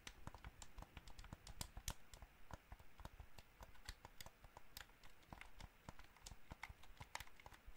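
Fingernails tap the face buttons and shell of a hollow white plastic gamepad, and fingers also tap its triggers. The result is a steady run of quick, dry clicks with bright, sharp edges over a soft low thump.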